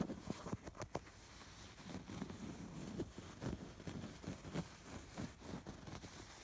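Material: Fabric.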